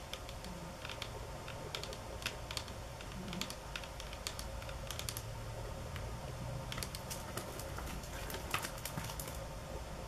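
Long fingernails tap on a solid speckled stone countertop, marble or granite, in a mix of fast, hard taps and slower, softer ones. The result is a steady stream of sharp, bright clicks with short, dry decays over a low, constant background hum.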